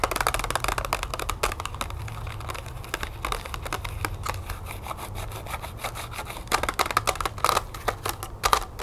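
Long nails tap quickly on a small, hollow, clear plastic blister pack of yellow striped wax birthday candles, mounted on a pink cardboard backing and lying flat on a wooden table. The result is a rapid, dense stream of short, crisp plastic clicks with a hollow ring near 1.2 kHz and bright edges, over a steady low rumble. The taps grow louder and sharper toward the end.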